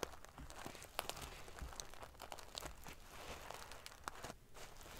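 Fingernails scratch and ruffle the silver metal paillettes of a sequin-covered pillow. The result is a steady, quiet stream of dry, prickly crinkling and scratching, dotted with sharp, bright clicks that stop almost instantly.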